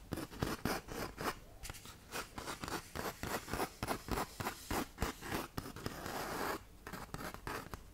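Long nails scratch rapidly over the gritty face of a tan 120-grit sandpaper sheet held curled like a tube. The result is a quick, uneven series of rough, broadband scratching bursts that reach up into bright, high frequencies, with a short sustained rasp near the end.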